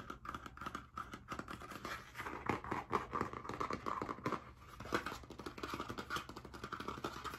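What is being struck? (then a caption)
Spiral-bound notebook with cardboard cover. A blue spiral-bound hardcover notebook with a metal wire binding and cardboard cover is held upright while its cover is scratched and tapped quickly with nails and fingertips. The result is a dense, continuous stream of dry scratching and rapid tapping, with a papery midrange tone around 1 kHz and no ringing.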